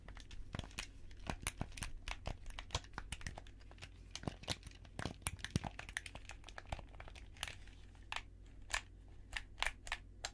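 A hollow black plastic handheld gamepad, held between two microphones, is clicked and rubbed by white-gloved fingertips pressing its buttons and brushing its shell. Many short, sharp, bright clicks and crinkly scraping sounds come in quick, uneven bursts over a steady low hum.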